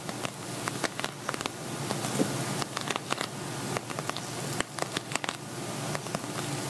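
A medium-size, flat silver glitter-coated vinyl zippered pouch with a pink zipper, hollow and apparently empty, is tapped and scratched with medium-length natural fingernails and fingertips. Sharp, crisp nail clicks and taps come in quick irregular bursts over a steady bright, scratchy crackle of the textured surface.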